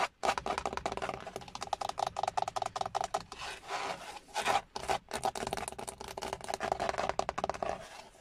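Fingertips with short nails tap and scratch the large, hollow, textured dark grey plastic airbag cover at the centre of a Hyundai steering wheel, next to its chrome logo. The result is a dense run of dry, scratchy rubbing and quick tapping with a hollow midrange tone, broken by a few brief pauses.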